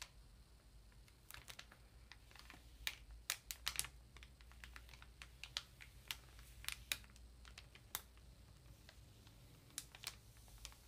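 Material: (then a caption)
Paper, plastic. Long nails tap and fingertips rub the thin plastic wrap on a solid block of printer paper ream. Sharp, bright, clicky taps land at an irregular pace over eleven seconds, scattered over soft crinkling rubs and a faint low steady hum. Each tap is dry and dies away almost at once.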